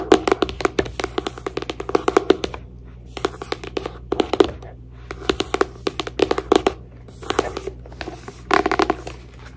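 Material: Paper.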